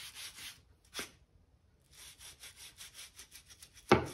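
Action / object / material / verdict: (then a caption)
scrape / oak floorboards scraped with a stiff brush / oak wood / none. A hand-held gap brush scrapes dirt out of the seams between the planks of a solid oak plank floor, making soft, bright, rhythmic bristle strokes. A sharper swipe cuts through near the start; after a brief pause, a quick run of scratchy strokes ends in one louder, harsh scrape.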